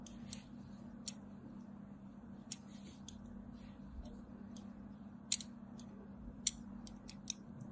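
A small metal blade scrapes and carves along the lower edge of a solid white bar of soap with a crumbled side, held in the hand. Short, crisp, bright scraping cuts come at irregular intervals over a quiet, steady low hum.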